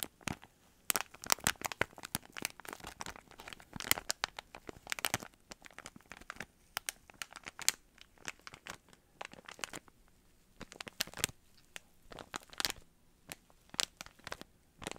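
A small clear plastic bag with a cardboard header card, filled with grey, teal and red yarn pom-poms, is held in both hands and crinkled and squeezed with the fingertips. Dense bursts of bright, crisp crinkling and sharp crackles come in uneven clusters separated by short near-silent pauses, with very little low end.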